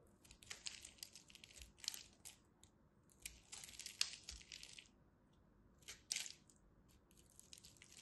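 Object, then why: Bar of soap. A small metal blade cuts flakes from the end of a solid purple and white striped soap bar, making quiet, crisp, bright scraping and crackling. The sound comes in irregular bursts of short, dry crunches with almost no low end and no ring.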